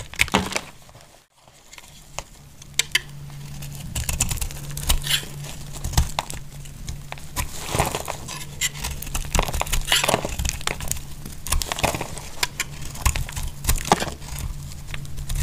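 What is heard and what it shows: A utility-knife blade cuts thick slices from a solid bar of dry purple soap held in a hand with long nails. Repeated crisp, crunchy crackles and dry scraping bursts run through the clip over a steady low hum, with a brief near-silent gap early on.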